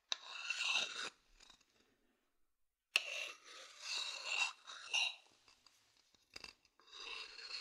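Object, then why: Wooden bowl scratched with a thin wooden stick. A thin wooden stick scratches the outer base of a medium hollow wooden bowl. It makes bright, dry scraping bursts with almost no low end, broken by a quiet pause. A sharp tick starts the second run of scratching.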